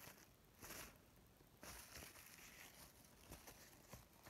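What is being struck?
Paper napkin.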